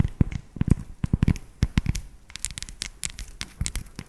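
Long acrylic nails tap rapidly on an unwrapped solid dark chocolate tablet with square segments, held in both hands. The result is an irregular run of short, dry taps with dull low knocks and sharp, bright clicky tips that die away almost instantly.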